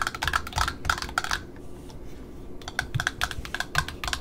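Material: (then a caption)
Satin, cardboard. Long metallic-painted nails tap a small black satin ribbon roll, solidly wound on a spool with printed cardboard end discs, striking both the ribbon side and an end disc. Quick, irregular bursts of short, dry, clicky taps with a bright edge pause briefly in the middle, then resume.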